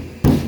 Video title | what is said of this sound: เปรียบเทียบกันเลยทำมัยรถรุ่นเก่า🚍ตัวถังรถถึงแข็งแรงกว่ารถรุ่นใหม่ๆ🚔👍 | เสียงต่างกันมากเลยนะครับนี่ก็คือการเปรียบเทียบคุณภาพของเหล็กรถรุ่นเก่ากับรถรุ่นใหม่